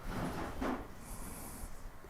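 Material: Nothing is struck.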